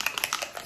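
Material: Liquid.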